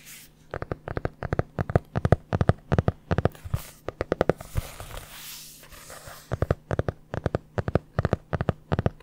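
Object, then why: Hardcover notebook with board cover. Long dark-painted nails tap and scratch the board cover of a medium red hardcover notebook, held closed and upright close to the mic. Quick, sharp, dry taps come in bursts with short pauses between them. A soft, hissy scratching stretch sits in the middle.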